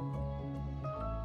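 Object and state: Nothing is struck.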